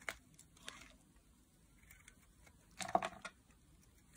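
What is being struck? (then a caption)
Bar of soap cut with a metal blade. A solid block of teal dry bar soap, held in the hand, is carved with a metal utility blade. Faint, dry scraping and cutting strokes crackle at the start, then a louder cluster of crisp, bright shaves sounds near the three-second mark, each dying away almost instantly against a quiet background.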